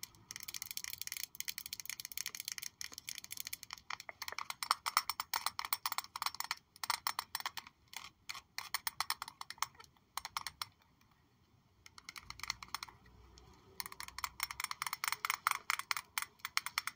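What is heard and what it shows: Fingertips or nails tap rapidly on a glass Miss Dior Blooming Bouquet perfume bottle that still holds a little perfume and has a houndstooth-like texture on its base. The result is a dense run of short, bright clicks with almost no ring or low end, broken by a brief pause near the middle.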